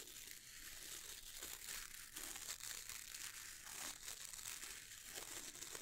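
Fingertips scratch and strum across the stiff dark bristles of a wooden-handled boar bristle brush. The result is a steady, quiet, bright crinkling rasp with many quick, sharp bristle flicks and almost no low end.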